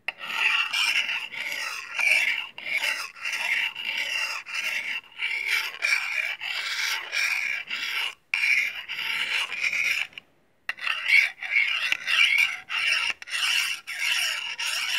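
A small solid steel knife has its blade scraped along a steel honing rod held in the other hand, in repeated short strokes at an uneven pace. Each stroke gives a bright, thin metallic rasp with almost no low end, and two brief silent pauses break the run near the middle.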